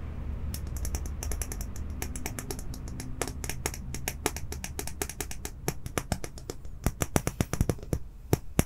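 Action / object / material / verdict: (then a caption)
scrape / plastic comb / plastic / none. Fingertips and nails strum and scratch across the rows of teeth on a small, solid, clear plastic comb held in one hand. The result is a quick series of sharp, bright ticks and clicks over a low, steady hum that fades midway, with the clicks growing louder and more spaced out toward the end.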